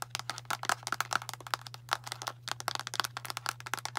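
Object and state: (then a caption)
Plastic pill bottle. Long matte nails tap rapidly on a medium, translucent light-blue plastic Tums antacid bottle with a blue plastic cap, hollow and filled with tablets. The result is a quick, uneven run of sharp, dry, bright clicks with almost no ring, some with a hollow plastic tone, over a steady low hum.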